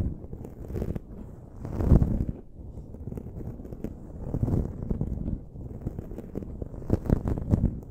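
Long nails and fingertips scratch and rub a dark foam windscreen on a silver microphone. The result is a dense, low, muffled rustling and crunching, with louder swells around two seconds, four and a half seconds, and near the end, plus faint bright crackles above.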